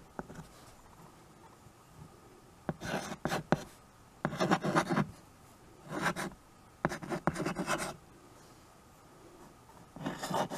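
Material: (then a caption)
Chalk, slate. White chalk held in the fingers writes on a small handheld chalkboard with a wooden frame. Short bursts of dry scratching strokes come in uneven groups, with quiet gaps between them.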